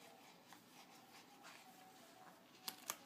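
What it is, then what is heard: Glossy paper magazine. Fingertips and short nails scratch and rub across the glossy coated paper cover of a car magazine lying flat on a dark table, making a faint, hissy, bright scraping. Near the end come two sharp, crisp taps on the cover.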